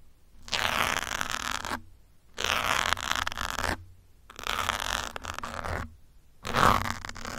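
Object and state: Foam microphone windscreen scratched with pins.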